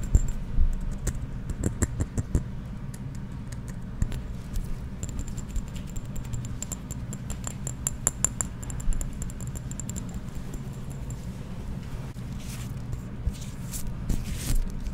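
A hand-held red glass perfume bottle in the Bombshell style, with a ribbon tied around its neck, is tapped rapidly with fingertips and nails on its glass sides and sprayer cap. The taps are short, sharp clicks over a low, steady rumble.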